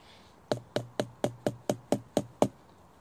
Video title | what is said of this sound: Bushcraft Primitive tinder episode 3: Fatwood! | you can hear that it's quite sort of dull which would suggest it's Hollow and not very dense